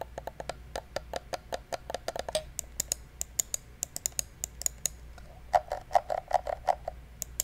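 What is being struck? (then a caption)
Plastic computer mouse. A small, hollow black plastic gaming mouse is held close to the mic while fingertips click and tap its buttons. The result is a quick, irregular run of short, dry clicks with a hollow midrange body and a bright tick on top. Near the end come a few louder, fuller taps.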